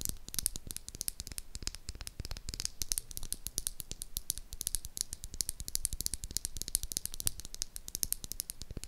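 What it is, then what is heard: Bar of soap. A solid, palm-sized pink oval bar of soap is held in one hand while long acrylic nails tap and scratch across it. Rapid, crisp clicks and scratchy strokes follow one another in a dense, uneven rhythm. Each tap is dry and bright and stops at once with no ring.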